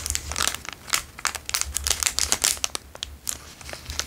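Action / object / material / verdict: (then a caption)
scrape / plastic chocolate bar wrapper / plastic film / none. The plastic wrapper of a small Dairy Milk chocolate bar, apparently still containing the bar, is crinkled and rubbed between the fingertips of both hands. It makes a dense run of bright, sharp crackles and crinkles in quick, uneven bursts, with a faint steady low hum underneath.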